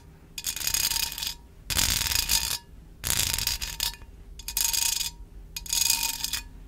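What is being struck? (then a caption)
Wire mesh pencil cup. A small, hollow, empty wire mesh pencil cup held in one hand has its metal mesh side scratched and tapped with long acrylic nails. Five bursts of bright, dense metallic rasping and clicking are heard, each with a faint ringing tone under it and short quiet gaps between them.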